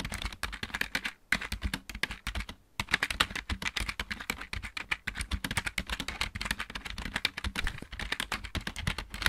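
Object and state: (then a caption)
Plastic mechanical keyboard. Both hands type rapidly with their fingertips on a full-size backlit plastic mechanical keyboard. The result is a dense, continuous stream of short, bright clicking taps with a low thump underneath, broken by two brief pauses early on.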